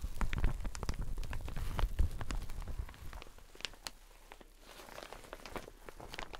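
A teal satin shower cap is held in both hands, stretched and rubbed, then moved off to the side. Dense, crinkly rustling and quick crackles with a heavy low rumble fill the first three seconds, then fade to softer, scattered rustles.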